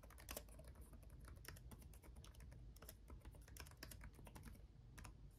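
Both hands type fast with their fingertips on the black plastic keys of an RGB-backlit laptop keyboard. The result is a quiet, steady stream of short, bright clicks and taps over a low background rumble.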